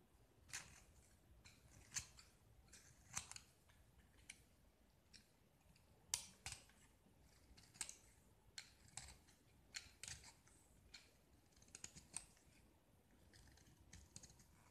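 A small solid gypsum block with a yellow painted coating, held in one hand, is shaved and scraped with a metal utility knife blade, and white chalky flakes come off. A series of short, dry, bright scraping strokes stands out over a quiet hiss, each fading almost at once.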